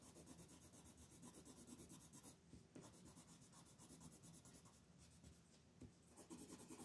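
A dark wooden colored pencil is rubbed in fast shading strokes across a flat white paper coloring sheet with a mandala on a table, held close to the paper. A steady, soft scratchy rubbing plays throughout, with a dense low-mid texture and a rhythmic bright hiss. It eases briefly in places before returning to full strokes.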